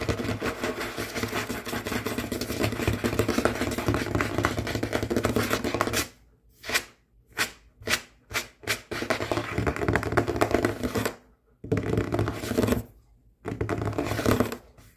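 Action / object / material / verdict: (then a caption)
tap / wooden tabletop / wood / none. Fingertips and short nails of both ringed hands tap and scratch quickly and aggressively on a large, solid, dark wood or wood-look tabletop. A dense, continuous patter of rapid taps and scratches runs for the first six seconds, then breaks into a few separate short bursts with silences between them. The dense scratching and tapping resumes in longer stretches, broken by brief pauses.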